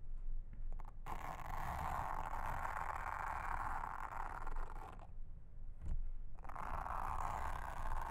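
A pink mascara spoolie brush is brushed and scratched across a round, flat blue silicone honeycomb trivet mat lying on a table. Long, steady scratchy brushing strokes are heard, with a soft low rumble beneath. Two brief pauses break the strokes.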